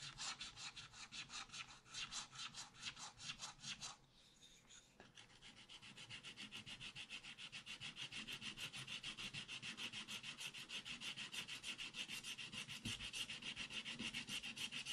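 A wooden stylus makes fast scratching strokes across the upper area of a black-coated scratch art card lying on a table. The bright, papery rasps come in a quick, steady rhythm, pause briefly at about four seconds, then resume and continue evenly to the end.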